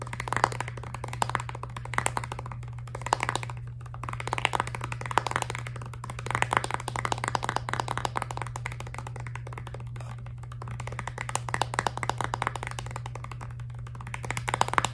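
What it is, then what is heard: Plastic toothpaste tube, tapped. Long nails rapidly tap and scratch the back of a filled, laminated plastic toothpaste tube, making a dense run of short, dry clicks with scratchy brushing in between. A steady low hum runs underneath throughout.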